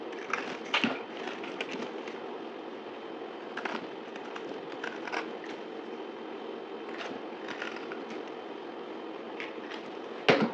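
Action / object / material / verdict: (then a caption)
scrape / bar of soap cut with a knife / soap / none. A solid, dried pink soap bar with a gold-painted shell is held in hand and sliced and scraped with a utility knife. A steady, dry, crackly scraping runs throughout, broken by sharp, bright snaps and crunches. The loudest crack comes near the end.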